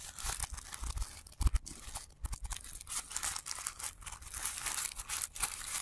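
A thin blue tissue paper pom-pom flower has its petal layers rubbed and crumpled by the fingertips of both hands, with the sound played in reverse. Dense, bright crinkling and rustling flutters continuously, broken by a few louder, brief crunches and soft low thumps.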